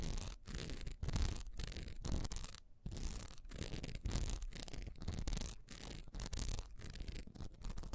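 A solid honeycomb-textured wax pillar candle with a diamond pattern is held tilted in the hand while long nails scratch quickly across its textured side. Dense, rapid scratching and rasping strokes run in bursts, separated by brief near-silent breaks, with a heavy low rumble under a bright, hissy edge.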